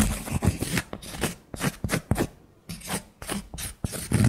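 Long nails scratch and tap the flat face and edge of a thick, round, solid cork coaster held in the hand. The result is a run of short, dry, scratchy bursts with a soft low thud beneath them, broken by brief quiet gaps.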